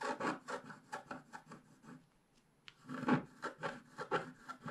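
A wooden stick scratches the lower leaves on a black-coated scratch-art paper page held flat by hand. It makes a quick run of short, dry rasping strokes, then a near-silent pause broken by a sharp tick. A louder, denser burst of scratching follows.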